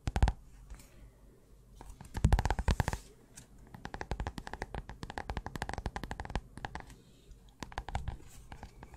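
A small pink paper notebook with a cardboard cover is held in the hands while its cover and edge are tapped and scratched with long nails. Quick, dry tapping comes in dense bursts with brief quieter pauses, each tap a short, dull knock with a light papery scratch.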